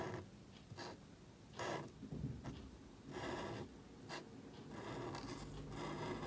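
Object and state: Marker nib scratching on cardstock.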